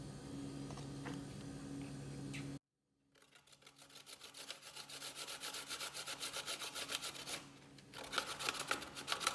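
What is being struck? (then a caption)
Coconut flesh on a stainless steel grater. A brown-skinned chunk of fresh, solid coconut flesh is held in the hand and grated on a stainless steel box grater over a growing pile of shreds on a bamboo board. A steady low hum gives way to a brief silence, then to rapid, bright, rasping scrapes at about four strokes per second. The scrapes grow louder, ease briefly, and then return with sharper, stronger strokes.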